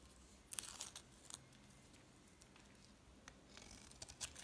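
A utility knife blade shaves and scrapes curls off a solid green bar of soap held in one hand, with a blue piece nearby, and the flakes fall onto a plastic tablecloth. Quiet, bright, crisp scraping and crackling bursts come in short clusters over a faint hiss, strongest early on and again near the end.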